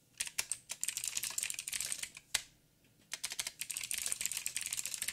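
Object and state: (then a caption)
Mechanical keyboard with plastic keycaps. Fingertips type on a backlit mechanical keyboard with plastic keycaps and blue clicky switches, giving a fast run of sharp, bright clicks with almost no low end. The typing pauses briefly in the middle, then resumes with a steady stream of crisp clacks.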